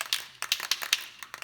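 A can of Rust-Oleum 2X acrylic enamel primer spray paint is shaken so its mixing ball rattles freely, mixing the paint before spraying. About ten sharp, bright metallic clacks come in uneven bursts, each dying away almost instantly.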